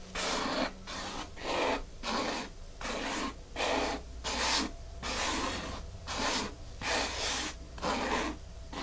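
Long fingernails scratch quickly back and forth over a flat, solid, dark grey porous foam mat. About ten bright, breathy rasping strokes rise and fall in a steady rhythm over a faint low hum.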